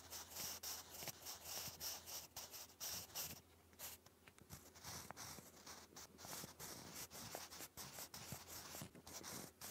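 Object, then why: Graphite pencil on thick lined card paper. A sharpened wooden graphite pencil writes English cursive across a sheet of thick grey lined cardstock lying flat. The result is a steady, bright, scratchy rubbing broken into quick, uneven strokes, with a brief softer lull partway through.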